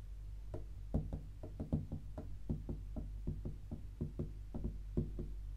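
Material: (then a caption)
Cardboard. Long pink acrylic nails and fingertips tap and scratch the flat lid of a closed, rigid, hollow white cardboard tea gift box with a red star print, lying on a grey sofa. Quick, irregular taps give short, dull, hollow knocks with a low body and almost no ring, over a soft scratching texture.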